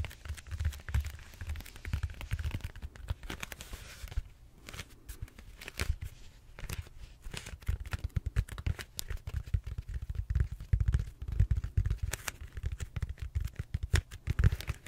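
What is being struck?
Expanded-foam roller.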